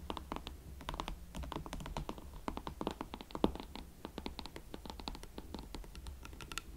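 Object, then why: Leather platform boots. A pair of hot pink leather Valentino Club Platform boots is held from behind while long nails scratch and tap their heels. Rapid, dry, clicky taps and scratching strokes come in a steady stream, each dying away at once over a low steady hum.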